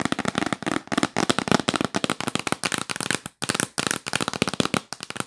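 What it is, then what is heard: Cardboard box lid. Long nails tap fast and aggressively on the lid of a yellow printed cardboard box held upright. The sound is a rapid run of dry, crisp clicks with a bright, papery edge, each one cutting off almost instantly. The tapping runs in dense bursts, with a brief pause near the middle of the clip.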